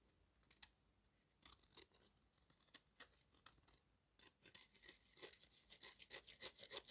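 A metal knife with a yellow handle scrapes and shaves the crumbly surface of a thick, solid lump of dry red mud resting on red powder. Short, dry, bright scraping strokes come in sparse bursts at first, then grow faster and louder toward the end.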